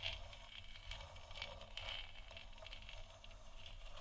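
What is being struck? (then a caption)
Hollow plastic lamp sphere. Long nails tap and scratch the sides of a large, hollow, 3D-printed plastic moon lamp sphere lit white. The result is quiet, continuous, soft patter-like clicking with bright, dry ticks that fade almost instantly, over a faint low rumble.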